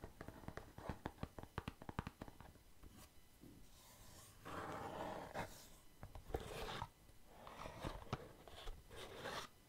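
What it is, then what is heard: Cardboard box with lid being tapped and rubbed. Fingertips tap, lift off and fit back on the separate lid of a small white patterned cardboard gift box, hollow and apparently empty. A quick run of sharp, dull taps comes first, followed by longer bursts of soft, papery rubbing and sliding as the lid scrapes over the box.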